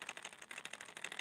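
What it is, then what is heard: Loud internal rattle in a hard plastic fishing lure. A hard plastic crankbait fishing lure with internal rattles is shaken, giving a quick run of about nine sharp, bright clicks centered near 2.6 kHz with almost no low end. The rattle is very loud, fitting a lure chosen for noise, and the lure has a subtle chartreuse paint on its bottom.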